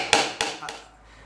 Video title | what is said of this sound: Incastro a coda di rondine angolare aperta / Through dovetail joint sub Eng | questo è un suono acuto